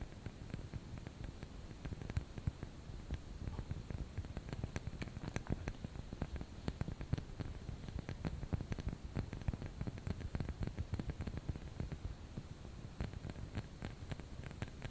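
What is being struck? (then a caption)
Wax candle. A small solid white wax snowman candle with a black hat and a wick is held in both hands and tapped and scratched with medium painted nails. Quiet, dry clicks and soft scratches repeat steadily over a low, muffled rumble, each tap dying away at once.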